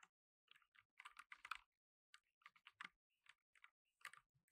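Fingertips in blue nitrile gloves type on a black tenkeyless mechanical keyboard with plastic keycaps. Quick, short clicks sound in uneven bursts separated by brief pauses, bright in tone with almost no low end, and each one dies away almost at once.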